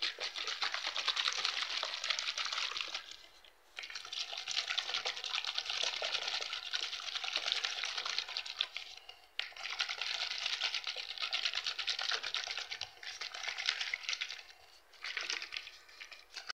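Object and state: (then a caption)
Plastic water bottle. Fingertips and nails tap, press and scratch the crinkled walls of a clear, hollow, mostly empty PET water bottle lying on cloth. The result is a dense, bright crackling and ticking with almost no low end, heard in long bursts separated by brief pauses.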